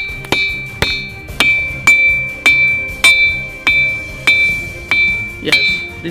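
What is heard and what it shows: Igneous boulders at Maremma Gudem, Nalgonda, are struck like a lithophone, each hit giving a bright, bell-like ring around 2.3 kHz that decays over about half a second. Ten strikes sound at a steady, musical pace. The ringing is attributed to the rock's high iron and aluminium content.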